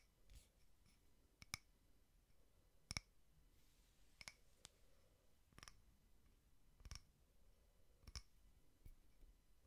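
A small frosted glass votive holder with a white wax candle inside is tapped with fingertips and nails. Nine short, sharp clicking taps are spaced irregularly across the clip, each bright and dying away almost instantly. A quiet low hiss sits beneath them.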